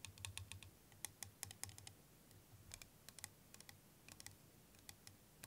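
Fingernails tap rapidly on a hand-sized, hollow, clear plastic liquid motion timer with yellow end caps, filled with green liquid. Quick, dry, bright clicks come in irregular bursts with almost no ring, over a faint steady low hum.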